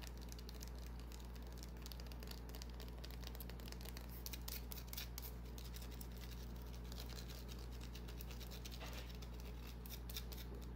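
Long nails scratch and tap a small, solid white bar of soap, with soap shavings resting on the palm. Quiet, bright, crisp scratching and soft irregular taps run continuously over a steady low hum.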